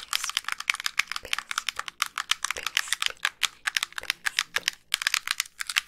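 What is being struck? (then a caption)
Plastic handheld game console shell. Long pink nails tap quickly across the shell and screen edges of a hollow, hand-sized white plastic handheld game console. About thirty-five dry, bright clicks come in a rapid, uneven run, each one very short with almost no low end.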